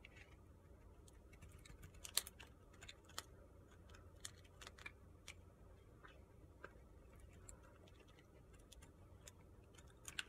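A utility-knife blade carves crunchy shavings off the side of a narrow, solid, pale pink soap bar held upright in the hand. Short, crisp, bright scraping crunches and ticks come at an irregular pace over a quiet, low background hum, each dying away almost at once.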